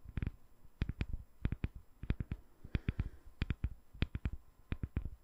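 Long nail tips tap a solid, translucent glycerin soap bar with embedded colored balls, held in one hand. About 23 short, dull taps land in quick clusters of two to three, each a soft low thud with a faint bright click on top. The taps die away instantly, with quiet gaps between clusters.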